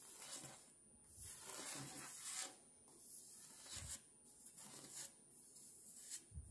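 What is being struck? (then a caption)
Paper sticker puzzle sheet. Fingertips and long polished nails rub and scratch across a thin, roughly A4 paper or card puzzle sheet covered in paper stickers forming a dove, which lies on a marble tabletop. The sound is a series of bright, dry rasping strokes that swell and fade in repeated bursts, with faint soft taps underneath and quiet pauses between strokes.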